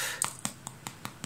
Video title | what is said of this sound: Un mini hamburger au saumon | Vous entendez le petit bruit. Voilà, ça c'est que c'est cuit.